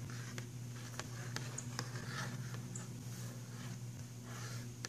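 A fingernail taps and scratches across the printed cover picture of a filled cardboard box of pastel pencils, making soft, quick clicks and light scraping rustles. A steady low hum sits underneath throughout.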